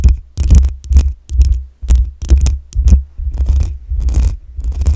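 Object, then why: Metal mesh microphone grille. Long nails scratch the hollow metal mesh grille of a black USB microphone, and the hands briefly lift off between strokes. Bursts of deep, rumbling scraping thump close to the mic, each carrying a faint bright rasp on top and separated by short gaps of near silence.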